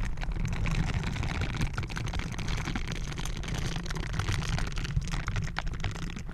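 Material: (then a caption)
Metal mesh. Hands in bristled blue silicone gloves scrub and cup a round, hollow metal mesh microphone grille. The sound is a continuous, close, deep rumbling rub with dense bristly scratching and crackling on top, and the low end dominates throughout.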